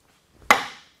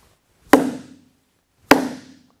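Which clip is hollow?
The second.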